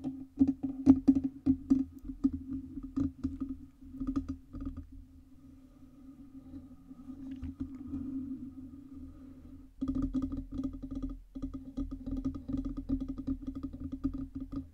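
Long red nails tap and scratch the lower metal body and base stand of a black Blue Yeti USB microphone. Rapid, dense clicking taps carry a steady metallic ring around 266 Hz, fading to a softer, sustained scratching hum in the middle of the clip before quick tapping resumes.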